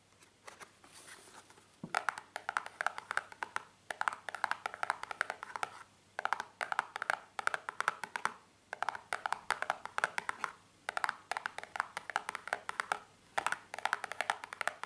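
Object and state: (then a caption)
Cardboard box tapped with fingernails. A small, hollow, white printed cardboard cream box lying on a towel is tapped and scratched with long painted fingernails. Quick, dry clicks and scratching come in bursts separated by short pauses, with a brief light scraping near the start.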